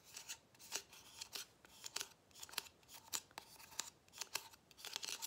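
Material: Plastic.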